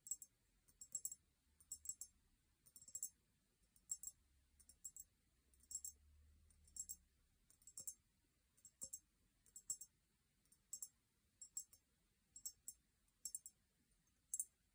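A small, empty, hollow cut-crystal glass vase is held in both hands and tapped with long painted nails. The result is quiet clusters of very short, bright, sharp clicks with almost no ring, in rhythmic bursts with brief pauses between them.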